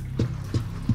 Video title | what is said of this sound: The Curse of Oak Island: Unearthing a Tunnel in the Garden Shaft (Season 11) | This beam is hollow wood.